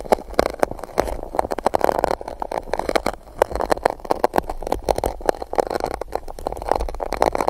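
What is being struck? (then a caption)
Coated paper cup. A small silicone spike tool rubs and scratches across the base of an empty gold-coated paper cup placed upside-down over the microphone. The result is a dense, hollow, papery scratching with a boxy midrange resonance, broken by quick rapid scrapes and taps that keep a steady rhythm throughout.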